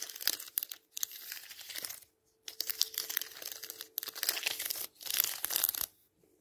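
Fingertips brush and riffle along the stacked paper page edges of a thick, closed hardcover Bible lying flat on a table, with colored index tabs on its fore-edge, in a rubbing, strumming motion. The result is a bright, crisp, crinkly rustle made of rapid fluttering ticks, heard in five bursts separated by brief silences. A faint steady low tone runs underneath.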